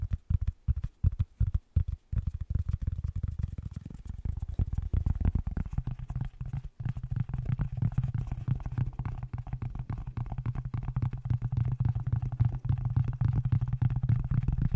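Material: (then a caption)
Wool felt. A grey wool felt Dr Pepper baseball cap is held close over a microphone while fingers rub, scratch and tap its fabric crown and brim. The first two seconds bring separate soft, thumping taps, then a dense, continuous muffled scratching and rumbling that stays almost entirely in the low range, with a steady low hum underneath in the second half.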